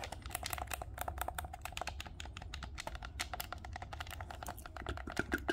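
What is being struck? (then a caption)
Plastic game controller. A dark green plastic Nintendo Switch Pro controller is held in both hands while thumbs tap and click its buttons and sticks. The result is a rapid, uneven stream of short, sharp plastic clicks and taps with bright edges, sitting over a steady low rumble.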